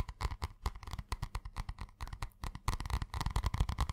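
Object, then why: Spiral notebook with cardboard cover. Fingertips and nails tap quickly on the cardboard cover of a purple spiral notebook held in the hands. The result is a rapid, uneven run of short, dull, low thumps with light clicky edges, each dying away almost instantly. The taps grow denser and slightly louder toward the end.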